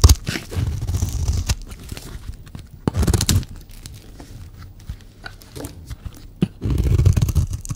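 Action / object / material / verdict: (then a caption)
scrape / bar of soap scraped with a blade / soap / none. A blade is scraped along the surface of a solid green dry soap bar held in the hand, carving off long shavings. Dull, low-heavy scraping and crunching comes in several bursts separated by quieter crackly stretches.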